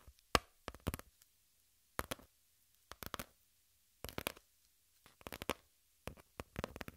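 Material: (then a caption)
Cardboard. Long pink nails scratch and tap a flat brown cardboard piece in short, dry bursts of crisp scratching and clicking. The clusters come every second or so, separated by near silence. Each touch is broadband and quick, with a bright edge and almost no ring.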